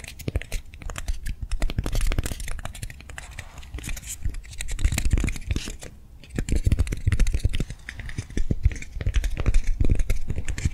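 Long nails tap and scratch quickly across the surface of a hand-sized soft foam swirl lollipop toy held in the hands. The result is a dense run of soft, dull, low taps mixed with rough scratching, with a brief quiet pause about midway before the tapping picks up again.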